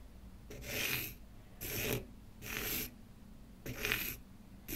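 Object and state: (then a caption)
Light wooden block scratched with a pen. A pen tip is scratched back and forth across the grain of a small, solid, light wooden block held in one hand, coloring it with dark strokes. Five separate dry, raspy scratching strokes are heard, each a bright, hissy burst of about half a second with quiet pauses in between; the last is cut short.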